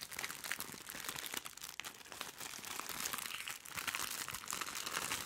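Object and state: Plastic-wrapped package being crumpled.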